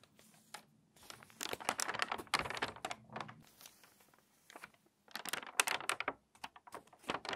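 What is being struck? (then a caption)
Glossy paper magazine. Long manicured nails and fingertips rub and crease the pages of an open, water-damaged glossy paper magazine lying flat on a tablecloth, then turn a crinkly page. Quiet, bright, crisp crinkling and rustling comes in dense bursts, with a brief lull before a final run of sharp crackles.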